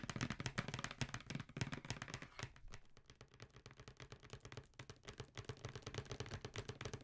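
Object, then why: Cardboard shoe box. Long nails tap rapidly along the edges and side of a hollow black cardboard Jordan shoe box held upright. The result is a quick stream of short, dry clicks over a soft, hollow low thump. The tapping eases and quiets in the middle, then picks back up.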